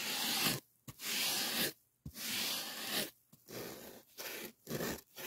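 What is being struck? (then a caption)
Polyethylene foam packing sheet. Fingertips scrape and rub along the edge of a white polyethylene packing foam sheet. Dry, bright, hissy scraping strokes come in bursts separated by brief silences, with a few short squeaky catches between them.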